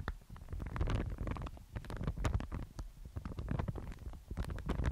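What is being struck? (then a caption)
Mulberry paper sheet. A thin, fibrous sheet of white Thai mulberry paper is held in both hands and folded and flexed, so it crinkles and rustles. Dense, irregular crackles and soft rustling bursts come quickly one after another, with most of the energy in a low, muffled rumble and only faint bright edges.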